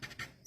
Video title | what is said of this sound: Tearing down Lymow one on day one! Checking screws and adding loctite as I go. From Facebook Live! | It sounds like plastic, but scratches like metal.